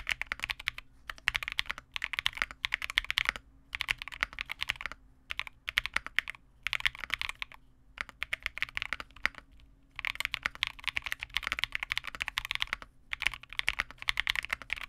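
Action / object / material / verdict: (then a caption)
tap / plastic mechanical keyboard / plastic / none. A small 65% Vega65 mechanical keyboard with re-lubed Cobalt switches, white plastic keycaps and a dark case is typed on continuously with the fingertips of both hands. Bursts of rapid, bright, crisp key clacks with almost no ring are broken by several short pauses, over a faint steady low hum.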